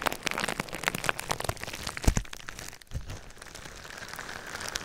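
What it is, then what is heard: Plastic bubble wrap. Fingertips and nails rapidly tap and scratch clear plastic bubble wrap laid over the microphone. Dense, crackly taps and crinkles with deep thumps and bright highs fill the first three seconds, peaking in a sharp knock near two seconds. A brief lull follows, then a softer, steady scratching rustle continues to the end.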